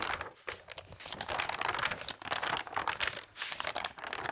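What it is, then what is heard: Glossy paper magazine pages flipped. Long-nailed fingers quickly flip the coated glossy pages of a large open magazine lying on a table. A steady stream of crisp, bright paper flutters and crinkles runs with little low end, each page turn cutting off short.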